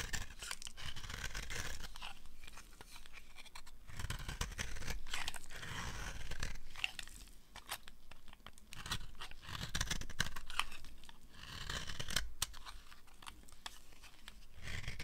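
A knife blade shaves and scrapes the edge of a solid, dry yellow oval bar of soap held in the hand. Quick, irregular strokes produce crisp, crunchy scraping and tearing sounds with a low, dull underlayer. The strokes come in swelling bursts with brief quieter pauses between them.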